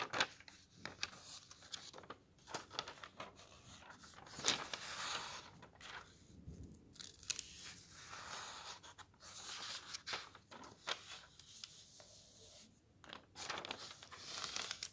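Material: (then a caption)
Paper. Fingers quickly flip and slide the thin paper pages of a thick softcover camping guide. The result is a run of crisp, bright rustles and papery swishes, with quick flicks scattered among softer sliding sounds and almost no low end.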